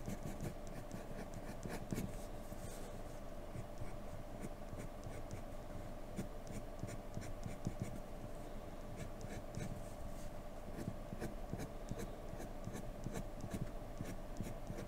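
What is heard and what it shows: A wooden graphite pencil works a flat paper drawing sheet in repeated scratching strokes, the hand staying on the paper throughout. The result is a quiet, steady, dry scratch and rub with soft stroke-to-stroke variation and no pauses.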